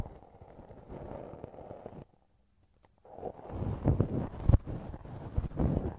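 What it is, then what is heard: Silicone ear model being scraped. A thin wooden earpick scratches and scrapes inside the soft, hollow canal of a right silicone ear model mounted on a binaural microphone, in repeated strokes. The scraping is close, muffled and mostly low, with a near-silent pause around two to three seconds before louder rubbing strokes and dull thumps resume.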